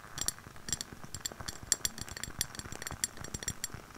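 Long nails tap the walls and rim of a lit candle in a clear glass jar with white wax and a label, held close. A quick run of bright, clinking taps sounds, each ringing high and dying away almost at once over a soft low rumble.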